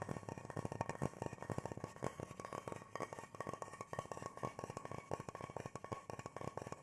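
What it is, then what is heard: Carved wooden bowl. A large, shallow, hollow carved bowl of natural teak-like wood, empty and held upright in both hands, is tapped and drummed on its outer surface with the fingertips. A rapid, continuous stream of dry, hollow knocks with a woody mid-range tone dies away almost instantly after each strike.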